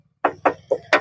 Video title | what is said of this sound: Toyota Hiace GL Model- 2010 Reg-2016 - টিন বডির গাড়ি - Sobuz bd vlog | টোকা দিলেই tin body.